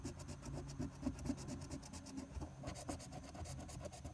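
A silver coin scrapes the latex coating in the Game 2 area of a flat paper lottery scratch-off ticket (#023) lying on a tabletop, using quick strokes. The result is a continuous dry, raspy scratching with rapid repeated strokes, a low rumbling body, and bright, grainy scraping texture throughout.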